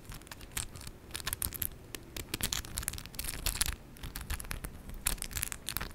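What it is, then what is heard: Acrylic press-on nails tapping and rubbing. Long decorated acrylic press-on nails with 3D charms, made of hard plastic, tap and rub against each other between both hands near the chest. Quick, bright clicks come in irregular clusters, mixed with scratchy rubbing, over a low background rumble.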